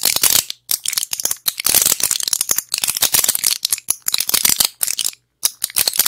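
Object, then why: Plastic and foil pill blister pack. Long acrylic nails tap and scratch a small, flat blister pack of pills with plastic bubbles and a foil back. Quick, bright clicks blend with crinkly scratching in dense bursts, broken by a few short silences, with almost no low end.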